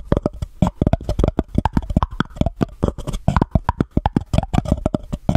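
Long painted nails rapidly tap and scratch the top and sides of a small, empty, white embossed paper cup held over the microphone. About 33 short, dry taps come with a deep, hollow low thump, each dying away almost instantly, with light scratching between them.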